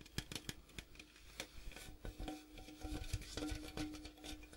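Fingertips and nails tap the striped side and gold rim of a large, hollow, printed metal popcorn tin as it is moved around. The result is a quick, uneven series of short, dry clicks and hollow knocks with bright edges, each dying away almost at once over a faint steady hum.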